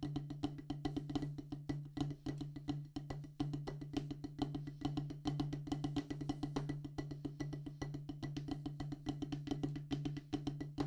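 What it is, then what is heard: Rubber drum practice pad on wooden base. Wooden drumsticks tap quickly on a solid black rubber practice pad mounted on a wooden base. The result is a rapid, continuous stream of short, dry, woody clicks with a dull low thump around 140 Hz, each stroke dying away almost instantly.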